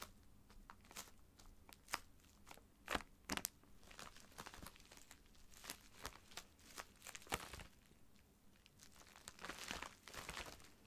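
Fingers rub and scratch a filled white plastic poly mailer bag lying flat, with one hand working it at the end. The result is quiet, dry, bright crinkling with sharp crackles and brief louder rustles scattered throughout.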